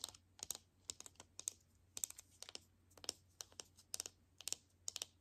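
A palm-sized hollow plastic Mini Brands toy capsule ball in a printed teal film wrapper, contents not visible, is held in both hands and tapped with long nails. About nineteen quick, crisp, bright clicking taps come in irregular bursts, each dying away instantly with almost no low end.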